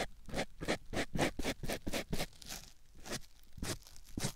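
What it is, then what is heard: Foam sponge rubbed on a silicone ear microphone. A white rectangular foam sponge block held in the fingertips is rubbed and scratched against a silicone ear microphone. It makes a quick, slightly uneven run of close, crunchy scraping strokes, each a short bright burst over a soft low rumble, with brief pauses between some of the strokes.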